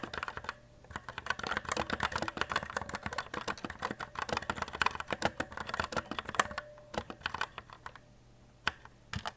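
Fingertips with short nails type continuously on a white E-Element Z-88 RGB mechanical keyboard with plastic keycaps resting on a desk. The result is a rapid, dense stream of sharp, crisp key clicks and clacks with brief pauses, each press dying away almost instantly.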